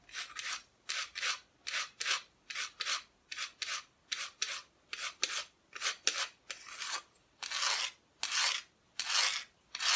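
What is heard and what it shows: Long fingernails scratch the flat, solid, bare wood back of an unfinished cutout wooden Christmas decoration held close. About 20 separate dry, bright rasping strokes come in a loose rhythm, the later ones longer and fuller, with almost no low end.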